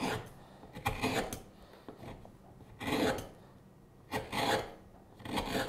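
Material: Wood.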